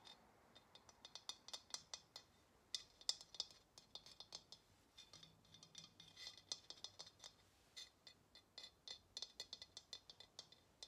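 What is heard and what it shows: Long nails tap and scratch the painted body of a hollow ceramic pottery vase held sideways. About 40 quick, bright clicks and light scrapes follow one another in an irregular rhythm. Each dies away almost instantly, leaving a faint high ring over a quiet background.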